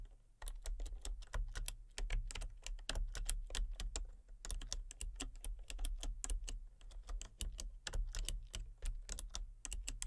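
Rapid fingertip and long painted-nail typing on a full-size backlit plastic RGB computer keyboard with hollow key switches and colour-cycling lights. Quick, dense clicky key taps run steadily with a brief pause near the middle, each tap crisp and short over a low background rumble.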